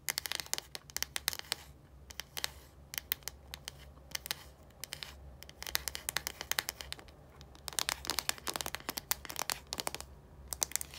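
Long nails tap and scratch the hollow, translucent plastic cap end of a deodorant stick. Quick, bright clicks come in dense bursts with brief pauses between them, over a faint low hum. Each tap is dry and stops almost instantly.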